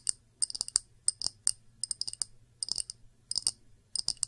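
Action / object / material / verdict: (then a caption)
tap / small glass dish / glass / none. Long nails tap quick, clicky bursts on an empty small round clear glass dish with bead feet. The bright, high clicks come in short clusters and die out almost at once, with no lingering ring.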